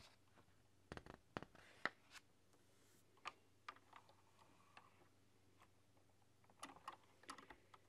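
Long nails type slowly on a typewriter-style mechanical keyboard with round metal-rimmed keys in a dark setting. Quiet, sharp clicks come in uneven clusters, with softer taps and light scratches between them, over a faint steady low hum.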